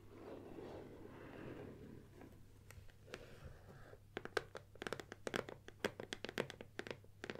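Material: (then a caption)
Cardboard. Long painted nails scratch and rub across the sides and front of a closed, medium-size, gold printed cardboard Nikon lens box, hollow with the lens packed inside and standing on a wooden table, making a soft, papery scraping for the first four seconds. It then shifts to a rapid series of crisp, dry taps with bright clicky edges that stop almost instantly, over a faint steady low hum.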